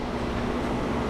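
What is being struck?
Nothing is struck.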